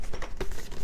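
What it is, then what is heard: Cardboard box with loose contents rattling. A sealed, unopened cardboard box holding a GoPro Hero 11 Black camera case and accessories is shaken. Loose contents rattle inside with a dull, low, muffled sound, suggesting the items are not held securely.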